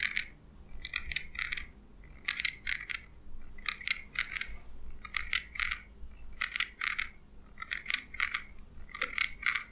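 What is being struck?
Small steel scissors.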